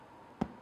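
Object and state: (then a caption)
Hollow-sounding baked soda bread (done). A freshly baked loaf of Irish soda bread is turned over and tapped twice on its bottom, giving two short, dull, hollow knocks with almost no ring. The hollow sound shows the loaf is done.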